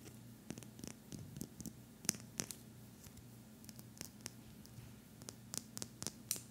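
Fingertips strum and scratch along the fine teeth of a solid, thin pink plastic hair comb about 20 cm long, held in one hand, with a sleeping puppy lying nearby. Quick, bright, crisp ticks and scrapes come in scattered bursts over a quiet, steady low hum.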